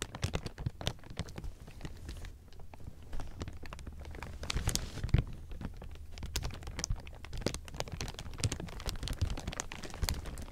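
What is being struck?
Thin clear plastic film.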